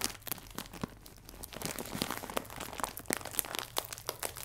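A clear plastic film bag full of biscuits is crinkled sideways, then held upright and squeezed. The result is a dense run of sharp, bright crackles and crinkles over a soft, steady hiss.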